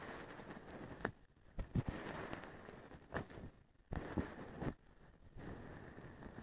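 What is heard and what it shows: A small wooden stick brushes and scratches the strands of a blue plastic-strand feather duster with a white handle. Soft, dry rustling swells and fades in uneven bursts, broken by sharp brief clicks and quiet gaps, with most of the sound sitting low.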